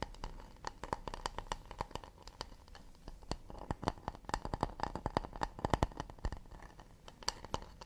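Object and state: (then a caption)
Acacia wooden plate. Fingertips and nails tap and scratch the underside of a round acacia wooden plate shaped like a shallow bowl, held upside down with the underside facing out. A fast, uneven run of short, dry clicks and knocks with no ring, with soft scratching between them.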